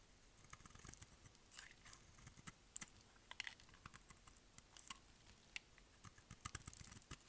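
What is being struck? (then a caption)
Bar of soap. A solid, dry pink bar of soap is held in the hand while its edge is shaved with a utility knife blade. Quiet, crisp scraping and cutting produces a quick, irregular run of short dry clicks and crackles, bright and brittle with soft low thuds underneath.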